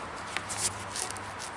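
The old single coolant hose from a Fiat Idea, leaking at all its connections and splitting at the plastic weld, gives faint crunchy, crackling sounds as it is handled, with two small sharper cracks over a low background hum. The crackle shows the hose material has aged and hardened, so it is being replaced.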